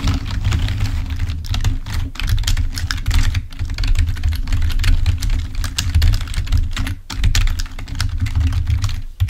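Fingertips of both hands type rapidly on a full-size black plastic Microsoft keyboard resting on a table. The result is a dense, steady stream of short plastic key taps and clicks with a heavy low-end thump beneath them. The crisp, bright click tops stay faint, and each tap dies away almost instantly.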